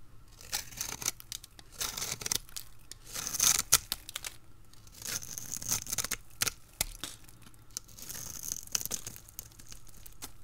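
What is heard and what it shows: A utility blade cuts crisp cubes and strips from a hand-held, solid, dried red soap bar with a scored surface. The cutting makes bright, dry crackling and scraping bursts with sharp clicks and very little low end. Each slice snaps off short, with quieter rustling between the bursts.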